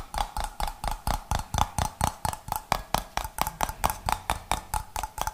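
Fingernails tap the gold metal screw lid and the glass body of a medium, clear, mostly empty glass jar, making 23 quick, short clicks at an uneven pace. Each tap is dry and bright with a faint ringing tone near 850 Hz and almost no decay.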